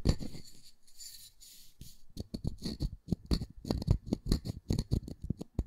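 Fingertips and nails scratch and tap a solid round wooden disc that is held flat and then gripped in both hands. Soft, hissy scratching fills the first two seconds. It gives way to a quick, irregular run of dull, low wooden taps with faint bright clicks on top, each dying away almost at once.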